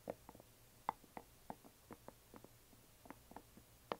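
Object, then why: Small glitter resin box. A closed, hollow yellow glitter resin or plastic coffin box lying flat is gently tapped on its sides with long nails. Soft, dry, clicky taps come in an irregular series, each short with almost no ring and a mid-pitched knock. A faint low hum sits underneath.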